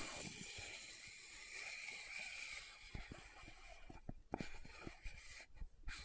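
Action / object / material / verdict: tap / small plastic powder jar / plastic / none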